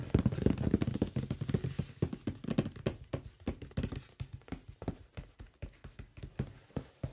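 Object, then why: Closed cardboard box. The fingertips of both hands tap and drum on the top surface of a large, closed cardboard microphone box. The result is quick, dull, low-pitched thuds with no ring, in an irregular patter. The thuds are dense and blurred together for the first few seconds, then thin out into softer, separate taps.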